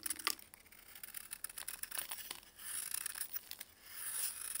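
A blue-gloved hand scrapes and carves a hand-sized, solid, chalky block of dried baking soda with a metal utility blade, and flakes fall onto cardboard. The sound is quiet, bright and dry: rapid crisp crunches and short, sharp ticks, with longer rasping scrapes that swell into a hissy rush near the middle and again at the end.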